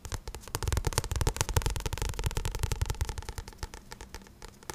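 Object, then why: Paperback book with card cover. Fingertips tap and scratch the glossy card cover of a paperback book, making a quick, uneven run of soft, dull taps mixed with bright, crackly scratching. Each tap dies away almost instantly, and the tapping grows quieter toward the end.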